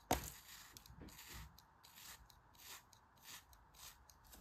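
A thin craft knife blade slices repeatedly in parallel cuts through a palm-sized, solid pink kinetic sand dog face molded and held in the hand. The opening cut is the sharpest and loudest, followed by a steady series of quieter, soft, crunchy scraping strokes with a bright hiss.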